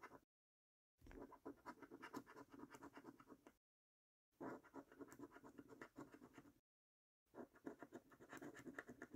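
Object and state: Scratch card coating being scraped off.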